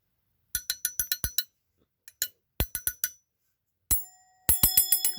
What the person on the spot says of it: This one here has more of a ting to it.